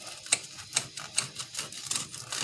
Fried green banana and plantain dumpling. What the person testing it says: you can hear how crispy it is